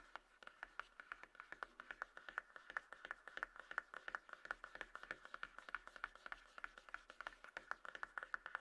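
Long nails tap and scratch the top of a small, closed, hollow white-grey cardboard iPhone box resting on a table. The result is a quiet, fast run of dry, crisp taps with a hollow papery tone around 1.5 kHz, each dying instantly, over a soft scratching hiss.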